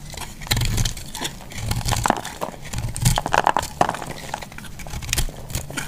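A metal blade cuts through a solid, dry heart-shaped soap, breaking it into crumbly chunks. Dense, dry crunching and crackling sound with short, bright snaps over a low, muffled scraping body. The bursts come in uneven waves, with several sharper cracks standing out.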